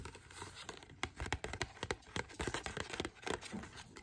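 A small, thin, flat glossy printed paper card showing a forest picture and the words "First Things First" is held in both hands and scratched and rubbed with long dark-painted fingernails. A rapid, irregular run of short, dry scratching and crinkling strokes plays over a soft papery hiss, with no speech. Other papers lie on the table, untouched.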